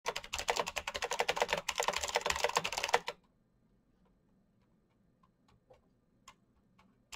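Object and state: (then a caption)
Plastic mechanical keyboard. Fingertips type fast on a black plastic full-size mechanical gaming keyboard with backlit keycaps and Razer green switches, tapping many keys. About three seconds of dense, rapid, bright clicking is followed by near-silence broken by a few sparse, isolated key clicks.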